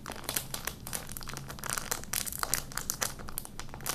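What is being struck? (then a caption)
Thin plastic candy wrapper. Fingertips crumple and rub an empty, small, thin, orange-and-clear printed plastic candy wrapper held in both hands. A steady stream of crisp, bright crinkles and crackles sits over a faint low hum, with sharper snaps popping out here and there.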